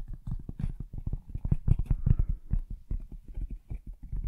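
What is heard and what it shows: A medium, rigid, hollow black cardboard box for a Blue Yeti X microphone, likely empty, is held in both hands and tapped and knocked on its sides with fingertips and nails. The result is a quick, uneven run of deep, dull, hollow thumps with almost no ring and very little high sound.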